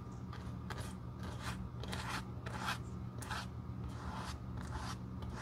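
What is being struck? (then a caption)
Glue brush stroking a leather shoe sole. A glue brush spreads glue over the solid dark tan leather outsole of a glitter shoe held in the hand, giving soft repeated brushing strokes with a scratchy, papery texture over a steady low hum.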